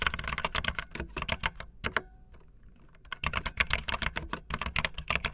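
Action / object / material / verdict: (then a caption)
tap / plastic mechanical keyboard keys / plastic / none. Fingertips with long nails type fast on a backlit optical linear mechanical keyboard with white and blue plastic keycaps. Rapid, bright plastic clacks with a low thock underneath run steadily, pause briefly for about a second in the middle, then resume at the same quick pace.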